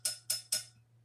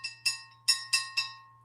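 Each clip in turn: First: cracked bisque pot sounds dull. Second: sound bisque-fired mug, rings clear.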